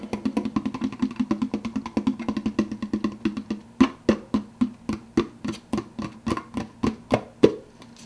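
Fingertips tap quickly on the clear plastic lid of a large, empty, hollow plastic soda cup. The taps come as rapid, hollow, dry clicks with a mid-low body and almost no ring. They are dense at first, then become sharper and more spaced out in the second half.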